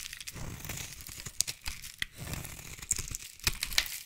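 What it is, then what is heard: Bar of soap being carved. A utility knife blade scrapes and carves shavings from the end of a solid light blue bar of soap. The sound is a bright, crackly scraping with a steady papery crunch, broken by a few sharp, crisp clicks as the blade bites in.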